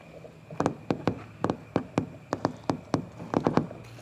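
Fingertips and nails tap and knock on the surface of a large, scratched, red molded plastic playground slide with a hollow shell. About sixteen short, dry, hollow knocks come in an uneven rhythm, some in quick pairs, each with a brief bright click and dying away almost at once over a faint steady background hiss.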